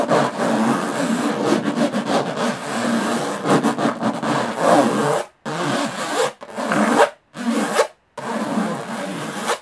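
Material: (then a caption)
Aluminum. Long nails scratch fast across the textured lid of a closed, hollow aluminum carry case, making a rough, raspy scraping. About five seconds of continuous scratching are followed by four separate bursts with brief silences between them.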